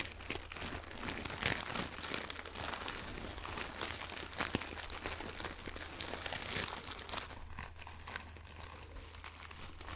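A small, soft, pillow-shaped fabric pouch with a floral print and crinkly filling is squeezed and scratched with long nails and fingertips close to the microphone. It makes a dense, continuous crinkling and crunching with bright, crisp texture over a steady low hum. The sound eases off slightly toward the end.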